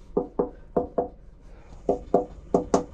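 Eight knocks, in four quick pairs, on a boat refrigerator's cabinet wall after its cavity has been filled with spray foam insulation. Each knock is a short, dull thud centered around 500 Hz that dies away almost immediately. The wall sounds solid rather than hollow, showing the cavity is filled.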